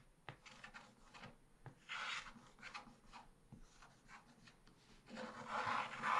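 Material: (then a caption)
Coated paper. A wooden stylus held in the fingers scrapes strokes across a black-coated scratch-art card page in a small spiral book, a solid flat sheet. Dry, papery rasping strokes come in uneven bursts, punctuated by a few sharp ticks where the tip catches. The scraping grows longer and louder toward the end.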